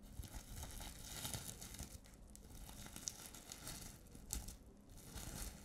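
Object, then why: Plastic sequin fabric pouch. A flat reversible-sequin pouch of multicolour plastic sequins on fabric, held upright in both hands, is scratched and flipped with long nails. The result is a steady, quiet crinkling and rustling texture with bright, scratchy sparkle and a low rumble underneath, broken by a few sharper clicks.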